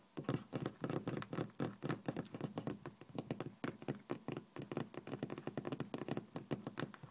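Fingertips and nails tap and drum on a flat, solid, speckled beige laminate office desk top, with a ring and a metal watch on the hand. A quick, steady run of dull, knock-like taps sounds, each dying away almost at once with a low thud and little brightness.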